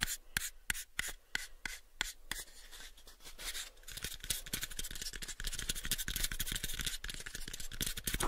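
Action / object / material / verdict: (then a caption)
scrape / light wooden box / wood / none. Fingertips rub and nails scratch the faces of a light, pale wooden cube box. Crisp, evenly spaced clicks over a soft rubbing hiss give way after about four seconds to denser, brighter scratching with rapid, irregular ticks that continue to the end.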